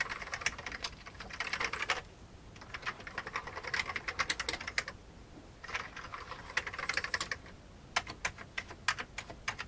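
Fingertips type on an old beige full-size plastic computer keyboard with hollow keycaps. Bursts of rapid, bright, clicky key taps with very short decay are broken by brief pauses. The clip ends with slower, separate taps.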